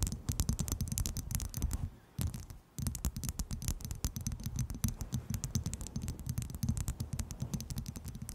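A small, clear, hollow and empty skull-shaped glass shot glass is held close to the microphone and rapidly tapped and scratched with long nails. The result is a dense stream of quick, dull taps with heavy low-end thump and bright clicky edges that die away almost instantly, broken by two brief pauses near the two-second mark. A faint, steady high whine runs underneath.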